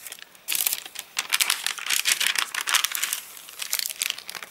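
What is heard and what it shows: Fingers pinch, crumple and flip the crinkled pages of an open, rain-dried paper catalogue. Dense bursts of dry, bright crackling and crinkling come in uneven waves, with no low end and brief quieter gaps between handfuls.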